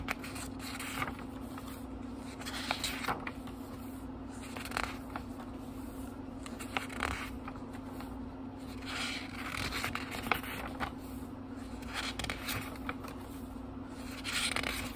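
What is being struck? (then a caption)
Small book with thin paper pages. Fingertips turn the thin paper pages of a small, thick book, one after another. Each turn gives a soft, bright rustle or crisp flick over a steady low hum.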